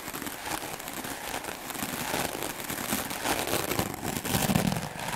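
A solid white rectangular melamine foam sponge, held by the fingertips, is brushed rapidly back and forth with a wooden-backed clothes brush with stiff black bristles. The result is a dense, continuous scratchy crackle, bright and broadband, with a faint low rumble underneath, growing slightly louder toward the end.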